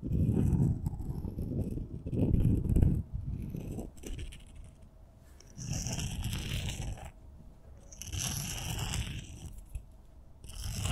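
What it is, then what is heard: Glitter-coated wooden pencils rubbed together. Two solid wooden pencils, one purple and one red, both coated in glitter, are held crossed and rubbed or tapped against each other by hands with long nails. It makes soft, uneven scraping and rubbing sounds, dense and low at first, then shifting into brighter, hissy scratchy passes.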